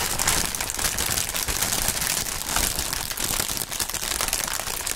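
A large sheet of thin, clear plastic air-pillow packing film with green print, partly inflated, is held up and crumpled and squeezed between both gloved hands with bare fingertips. A steady, dense stream of bright crinkling and crackling runs throughout, with faint low rustling underneath and no pauses.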